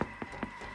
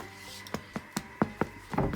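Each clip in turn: First: hollow-sounding baked baguette. Second: hollow-sounding baked baguette.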